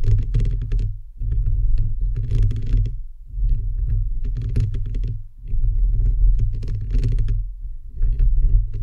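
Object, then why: Perforated metal microphone grille. Fingertips and nails of both hands rapidly tap and scratch on a bare microphone head with a hollow, perforated metal mesh grille. The result is a dense, continuous patter of deep, boomy thumps with a faint bright crackle on top. It comes in bursts separated by brief dips at about 1, 3 and 5 seconds.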